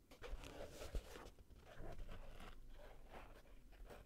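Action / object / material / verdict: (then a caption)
scrape / acoustic foam panel / foam / none. A hand holds a dark grey, wedge-shaped acoustic foam panel that is soft and porous, while fingertips and nails scratch and squeeze its ridges. The result is a close, dry rustling and crackling that sounds muffled and low-heavy, with a sharper scrape near the start.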